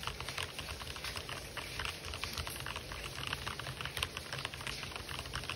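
Fingertips type rapidly on an RGB-backlit mechanical keyboard with white and black plastic keycaps, producing a fast, continuous stream of bright, crisp plastic clicks and clacks. The keystrokes sit over a faint, steady low background wash.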